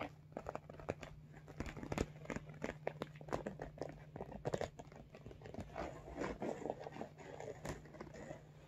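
Fingernails tap the top of a medium iridescent holographic vinyl cosmetic bag, then hands grip and squeeze its sides. The sound is a run of quick, sharp, dry clicks followed by softer crinkling squeezes, over a faint steady low hum.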